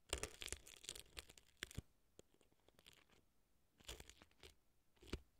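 A thin earpick scratches crumbly dry floral foam inside the right ear of a silicone fake ear set on a dry floral foam block. Dense, dry crunching and crackling strokes come in bursts, with bright, crisp edges and short, quick scrapes. The sound is quiet and close, with quieter gaps between the clusters.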